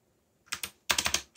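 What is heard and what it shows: Fingertips press keys on a mechanical keyboard with black plastic keycaps and a yellow backlight in a typing rhythm. Six short, bright clacks are heard: two spaced strokes, then a quick run of four. Each snaps off almost at once.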